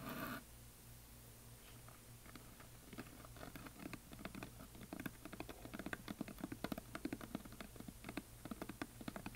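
A solid painted wooden heart plaque is held at both sides while fingernails tap and scratch along its side edges. Soft, quiet scratching starts slowly, then builds into a dense run of sharp, dry little taps over a steady low hum. A brief louder rustle opens the clip.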